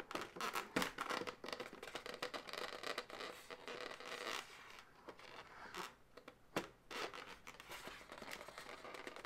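Long nails scratch and tap an inflated, hollow light pink latex balloon segment with an uninflated tail. The scratching gives a dense, dry, bright rasp, broken by short sharp taps and squeaky rubbing, all at a soft level with little low end.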